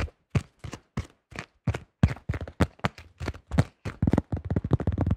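Fingertips rapidly tap and grip a yellow plastic disc golf disc with a blue stamp and a thin shell. Each tap is a short, dull, low thud with almost no ring. The taps start spaced apart and grow faster and denser toward the end.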